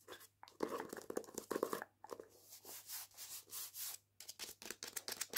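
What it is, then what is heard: Hardback book with paper dust jacket. A hardback copy of "Jews Don't Count," held upright, has its paper dust jacket cover and spine scratched with long painted nails. Dry, papery rasps with a bright hiss come in quick bursts. Fuller, louder scratches early on give way to softer sweeping strokes and a run of sharp, short scrapes at the end.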